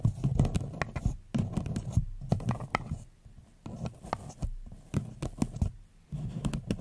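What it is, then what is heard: Paper cup. A hollow floral paper cup is turned upside down over the mic while long nails tap its sides. The result is a quick, uneven patter of dull, low, hollow taps with a faint scratchy brightness. Each tap dies away almost at once, with short quiet gaps between bursts.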